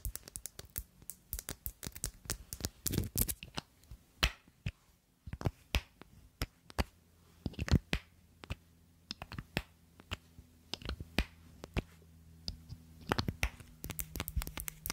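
Long nails tap a small black glass perfume bottle and its round black cap, held close to the mic. Many quick, sharp clicks and taps come in uneven bursts, some closely clustered and some spaced apart, over a faint low hum.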